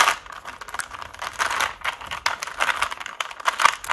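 A small 3x3 plastic Rubik's cube has its layers turned quickly by both hands using fingertips and nails. It makes a rapid, dense stream of dry clicks and rattles from the plastic pieces, centered in the mid range with bright upper content and almost no low end. The clicks stop instantly, with no ring.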